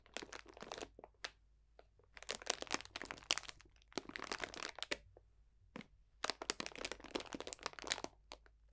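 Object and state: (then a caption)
Plastic bag of dried potpourri. A clear cellophane bag full of dried potpourri botanicals is pressed and crunched with the fingertips. It makes bursts of dry, bright crinkling and crackling in four clusters separated by short quiet gaps.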